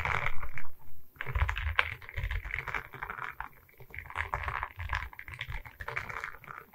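Long red nails tap quickly across the resin beads of a diamond painting on a wooden canvas board, held at its sides. The result is a fast, uneven run of light clicky taps over a low, dull thump from the board.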